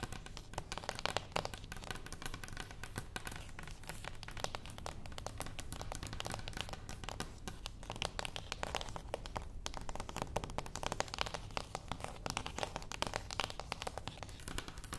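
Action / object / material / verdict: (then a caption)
tap / small closed cardboard box / cardboard / none. Long acrylic nails tap quickly and steadily across the top and sides of a small, flat, closed cardboard gift box resting on a wooden table. The taps are crisp, dry and papery, with a crinkly edge and almost no ring, over a constant low background hum.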